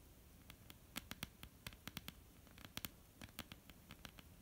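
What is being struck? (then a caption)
Wooden tabletop. Long polished nails of both hands tap and scratch a flat, solid, dark wooden tabletop. About twenty quick, sharp clicks land over a soft, steady scratching hiss. Each tap is bright and dies away almost instantly, with a faint low knock beneath it.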